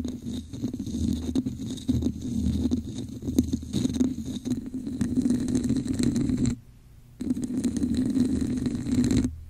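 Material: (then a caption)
Plastic. Long nails tap the top of a hollow, red, textured plastic cup placed over a microphone and scratch along its sides. The result is a dense run of muffled, rasping taps and scrapes with a hollow, boomy resonance. The sound drops to near silence briefly around the six-and-a-half-second mark, then resumes.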